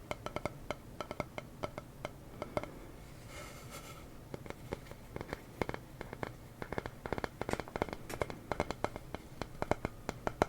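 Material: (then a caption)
Wood. A small wooden sign reading "the silly honest kind" is tapped over and over in quick, dry, woody knocks that die away almost instantly. The taps come in irregular bursts with short pauses, and a brief softer scratchy stretch falls near the four-second mark. The overall sound is gentle and close, with the pleasant tapping quality of wood.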